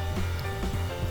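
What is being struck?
Nothing is struck.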